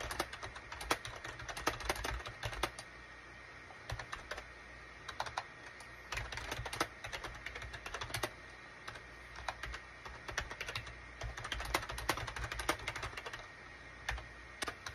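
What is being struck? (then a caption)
Plastic computer keyboard. Fingertips type on a full-size gray and cream SHIPADOO K600 wired USB plastic keyboard with a hollow plastic case, resting on a desk mat. Quick, short plastic key clacks come in rapid bursts separated by brief pauses, each click bright and snappy with almost no ring.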